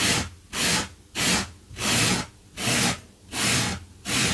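A gloved hand brushes a blue low-pile fabric carpet runner with a small yellow-handled wire brush, while a metal tin rests untouched nearby. Steady back-and-forth strokes make a bright, hissy scratching that rises and falls about every half second, with short quiet gaps between strokes.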